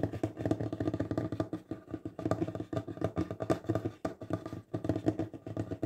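Fingertips and nails tap rapidly on a large, solid wooden tabletop in quick irregular bursts with brief pauses. Each dry, dull knock dies away almost instantly, with a woody resonance around 300 Hz and little bright content.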